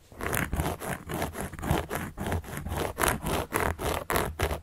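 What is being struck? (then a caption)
Cork board. A large, round, solid cork board is scratched with a carving tool in a quick, uneven series of about seventeen rasping strokes. Each stroke gives a dry, gritty scrape with a low rumble underneath and a brief bright hiss on top, with no ringing after each pass.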